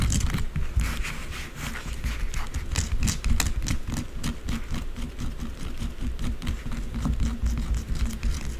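Long blue acrylic nails scratch and tap quickly and aggressively across the top and sides of a solid white bar of soap resting on a dark surface. A dense stream of short, dull taps and scraping crackles runs throughout, with low thuds underneath and faint bright scratchy edges.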